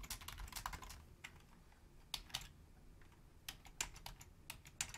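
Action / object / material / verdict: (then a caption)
tap / plastic computer keyboard / plastic / none. Long fingernails type on a full-size black plastic Logitech membrane keyboard with a hollow housing, one hand reaching over to the numeric keypad. A quick cluster of taps at the start gives way to sparser, irregular key taps. Each is a soft, bright, hollow click that dies away almost at once.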